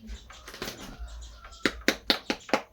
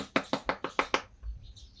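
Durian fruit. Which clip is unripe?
The second.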